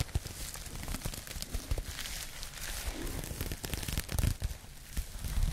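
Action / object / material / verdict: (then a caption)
scrape / crocheted yarn fabric bag / yarn / none. Long nails scratch across the open-knit fabric of a pink crocheted yarn bag, making a dense, crackly rustle. Quick bright scrapes and soft low thumps run through it, with a few sharper bursts near the end.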